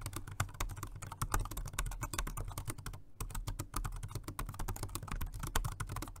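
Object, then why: Plastic wireless keyboard. Fingertips of both hands type continuously on a full-size dark grey plastic Jelly Comb dual-mode rechargeable 2.4G and Bluetooth wireless keyboard with round low-profile keys and a flat, hollow body, resting on a white desk. A rapid, steady stream of dozens of short, dry key taps is heard, each dying away almost at once. The taps carry a hollow, low thud and a steady low hum underneath.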